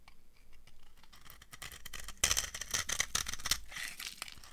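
A metal knife carves a dry, translucent amber laundry soap bar, shaving off crumbly yellow flakes. Soft, bright scraping and crackling builds into louder crunchy cuts from about halfway through, with quick, dry snaps that stop almost at once.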